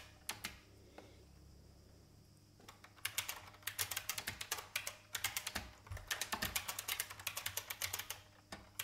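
Fingertips type on the plastic keys of a vintage IBM mechanical keyboard, heard in side close-up. A few sharp clicks come first, then a short quiet pause, then a steady run of crisp, bright, clattering keystrokes with very short decay.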